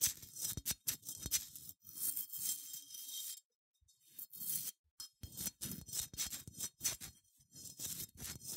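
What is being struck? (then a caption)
Unglazed ceramic sheep figurine. Long nails scratch across the bumpy surface of a small, cream, matte, unglazed ceramic sheep figurine held in one hand. The result is quiet, bright, dry rasping in irregular bursts of scraping, with brief pauses and almost no ring or low end.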